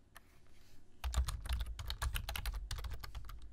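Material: Plastic.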